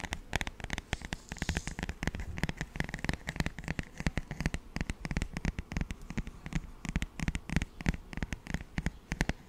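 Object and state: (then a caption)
Paperback songbook, fingertip tapping. Fingertips of both hands rapidly tap and scratch the glossy paper cover of a paperback children's songbook. The result is a quick, continuous patter of short, dull, low-heavy taps, mixed with a soft, papery scratching rustle.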